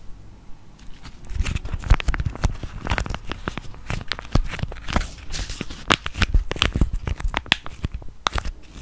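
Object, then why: Foil-plastic laminate sachet. A small, flat, sealed blue foil-and-plastic laminate sachet of peel-off face mask is held close to the mic in both hands and crinkled and scratched with fingertips and nails. Dense, dry crackling and crinkling rises after a quiet start, with many sharp, quickly fading snaps over a heavy low handling rumble, and brighter scratchy bursts throughout.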